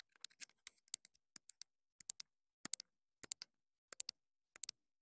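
Long nails tap and click on the hollow casing of a small black plastic clip-on wireless mini microphone transmitter. The sound is a quiet run of sharp, bright, dry clicks with no low end, coming in quick clusters of two or three separated by short pauses. Each click dies away almost instantly.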